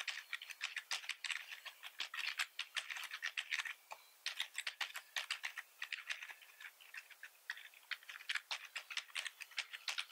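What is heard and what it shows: Both hands type rapidly with their fingertips on a black plastic computer keyboard with a hollow body, resting on a wooden desk. The result is a dense, uneven stream of sharp, bright clicks and clacks with almost no low end. Each click dies away almost instantly, with brief pauses between the bursts.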